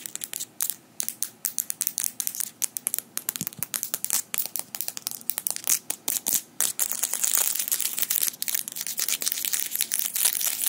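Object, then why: Metal fingerpicks. Small metal fingerpicks worn on the fingers of both hands tap and click against each other on interlocked fingers in front of the microphone. Rapid, bright, dry metallic clicks with almost no low end come in quick bursts, then thicken into a near-continuous clatter in the second half.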